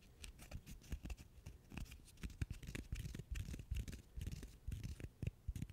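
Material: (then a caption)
Cork. A single small, solid natural cork wine stopper is held in the fingers and scratched with the fingernails. The result is a quiet run of quick, dry scratching strokes with soft, low thumps under a faint fizzy edge.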